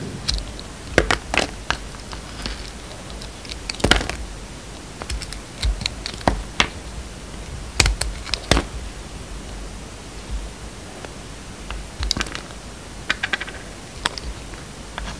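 A utility knife blade cuts thin slices off a solid yellow and white striped bar of soap with some gold glitter left on it, held in the hand. Each cut gives a short, crisp scraping click with bright edges, spread irregularly over a low, steady hiss.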